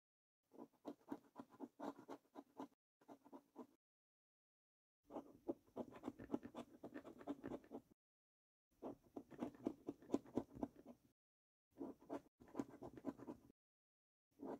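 A coin scratches the latex panels in the right column of a paper scratch card, making quiet, rapid, dry scraping strokes with a low, papery body and faint bright grit. The scratching comes in several bursts separated by short pauses, with the last burst cut off at the end.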